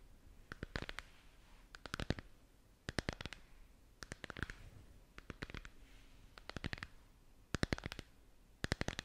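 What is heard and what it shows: A hollow, lit plastic moon lamp sphere is held in both hands while long nails tap and scratch its curved surface. Quick clusters of sharp, bright clicks come in bursts of several taps, separated by short pauses of soft scratching over a quiet background.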